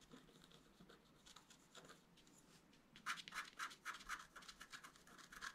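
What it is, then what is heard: Scratch art card being scratched. A wooden stylus scratches the coating of a flat black-coated scratch art paper card. Faint, soft scratching for the first three seconds gives way to louder, quicker bright strokes in a rapid, uneven rhythm.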